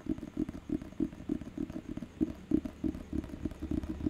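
Fingertips and nails tap and scratch the glossy front cover of a thick, solid paperback dictionary held in the hand. About sixteen soft, dull taps land at a fairly steady pace, each short and muted with a low-mid thump around 300 Hz and a faint scratchy rustle between them. Nothing bright rings out; each tap dies away almost instantly.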